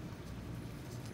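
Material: Nothing is struck.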